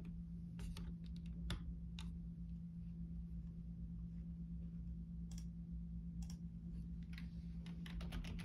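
Fingertips type across the hollow key caps of a full-size black plastic Logitech keyboard resting on a desk. Scattered sharp, bright taps and clicks, some single and some in quick runs, sit over a steady low hum that fills most of the sound.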